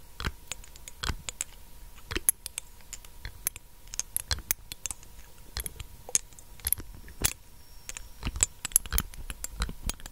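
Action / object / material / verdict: tap / small glass dropper bottle / glass / none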